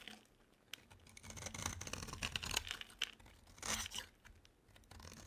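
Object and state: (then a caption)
Dry bar soap being scraped. A metal utility blade scrapes crumbly shavings off a small, solid, rectangular bar of dry soap, blue outside and tan inside, held in one hand. The strokes make dry, crackling, crunchy scratches with a bright, papery tearing texture over a faint low background.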